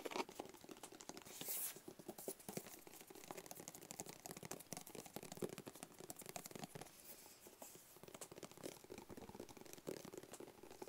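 Fingertips tap and scratch a small, closed, hollow black cardboard gift box. Rapid, dry, soft taps with a hollow mid-low tone mix with papery scratching, and a brighter scraping burst stands out around 1.5 seconds. The clip is quiet throughout, with each tap dying away almost at once.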